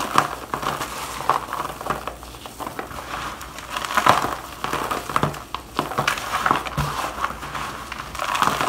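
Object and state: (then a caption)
Shaved bar soap. Gloved hands squeeze and crush dry shavings of bar soap in a black plastic bowl, then let the crumbs pour down. The result is a steady run of dry crunching and crinkling, with sharp crackles standing out around 1 kHz over a faint rustle.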